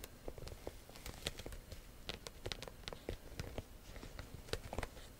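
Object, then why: Croc-embossed leather handbag. Long nails scratch and tap the textured front of a small structured black handbag made of croc-embossed, likely faux, leather with a metal clasp bar. A quick, uneven run of quiet, dry taps and scratchy rasps sounds over a soft low rumble. Each tap dies away almost at once with no ring.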